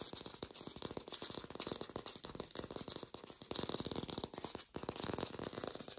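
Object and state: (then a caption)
Fake plastic green apple. An artificial plastic green apple is tapped rapidly, recorded lo-fi without a microphone. Dense bursts of short, dry clicks run continuously with a bright, papery edge and no ringing, forming a steady rattling patter.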